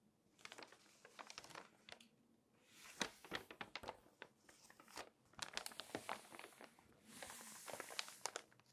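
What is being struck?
Glossy paper magazine.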